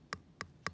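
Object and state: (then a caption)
Properly sealed canning jar lid. The metal lid of a cooled glass canning jar, drawn inward, is tapped three times, giving short, dry ticks with a bright edge and almost no ring. The plain tapping sound, rather than a hollow one, shows the jar has sealed properly.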